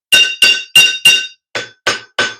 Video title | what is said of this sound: Black Smith 101 Lesson 2 Looking at the Hammer and the Anvil | stick it there on the heel, and the sound is a lot more muted than it would be without that